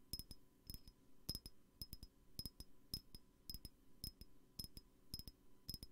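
Fingers tap on a glass perfume bottle in quick clusters of two or three light taps, repeating steadily through the clip. Each tap is a short, bright glassy clink with a high ring that dies away almost at once, over a soft low background.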